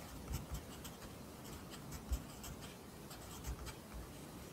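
A pencil writes Korean handwriting on an open, lined paper notebook, its graphite scratching across the page. Quiet, dry scratchy strokes come in short bright bursts over a soft low rumble, with a few slightly louder dull taps.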